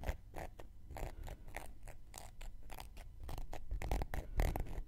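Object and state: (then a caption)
Cork coaster being scratched. A round, flat, solid cork coaster held in one hand has its surface scratched with a thin wooden knitting needle. The result is a quick, irregular run of short, dry scratching strokes with bright, breathy edges over a soft low rumble.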